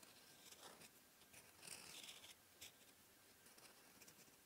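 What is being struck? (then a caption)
Steel fountain pen nib on lined paper. A steel fountain pen nib, held in the fingertips, scratches a flat white lined paper sheet in short writing strokes. The sound is a quiet, bright, dry scratching with clustered short scrapes and almost no low end.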